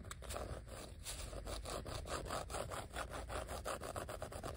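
Fingertips and nails scratch and rub across the embossed letters of a thin, solid, flat yellow vinyl sheet of die-cut letter stickers lying on a stack of other sheets. The result is a steady run of quick, raspy strokes with a soft low rumble underneath and bright scratchy edges.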